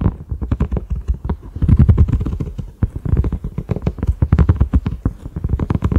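A large, flat cream silicone pot lid with concentric ridges and a black center knob is tapped rapidly with the fingertips and short nails of both hands. The taps give dull, low, muffled thumps with very short decay. They come in a dense, uneven patter, with soft clicks from the nails.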